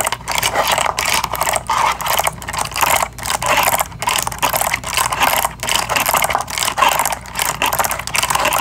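Long acrylic nails rapidly scratch and tap a cardboard box of bamboo toothbrushes, including its window, as the package is held close and turned. The result is a dense, continuous run of crisp, bright scratching and clicking with brief pauses.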